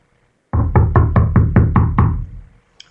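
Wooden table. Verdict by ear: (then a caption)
Hard. Someone knocks on a wooden table, a surface most listeners would call hard, though it could be considered flimsy. Eight quick, evenly spaced low, hollow thuds centered around 105 Hz ring briefly, followed by one faint, brighter tap.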